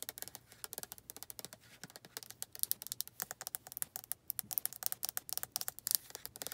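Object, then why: Plastic lotion bottle. Long nails tap quickly on the back label of a white plastic lotion bottle, making a rapid, uneven run of about 44 short, bright clicks. Each tap is dry and dies away at once, with almost no low end.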